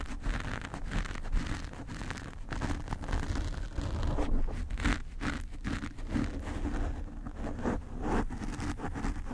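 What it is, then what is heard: Foam microphone windscreen. Long nails of both hands scratch a black foam cover on a desk microphone, producing a steady, dense stream of muffled scratching and rustling. The sound is heavy and low, with a deep rumble and almost no bright top, and rises and falls gently without clear breaks between strokes.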